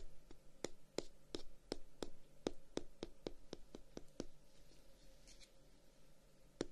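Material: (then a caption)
Wood. Fingertips and short nails tap and scratch the solid dark brown wooden guard of a handheld, closed wooden folding fan with a pale edge. About sixteen short, dry, dull knocks with almost no ring are followed by softer, brighter scratching toward the end, then one final tap.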